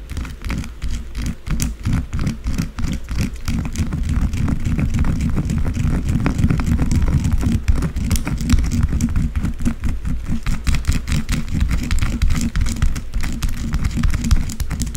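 Long blue acrylic nails scratch and tap quickly across the top of a solid white bar of soap lying flat. A dense, steady stream of soft, dull ticks and scrapes runs throughout, heavy in the low end with almost no brightness, each tap dying away almost instantly.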